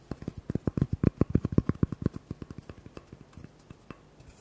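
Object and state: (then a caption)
Cork coaster. Fingertips and nails rapidly tap and scratch the surface of a small, flat, rectangular cork coaster held in the hands. About 24 short, dull, low-weighted taps land in an uneven flurry, with almost no ring after each. The taps are loudest in the first two seconds, then thin out and grow quieter toward the end.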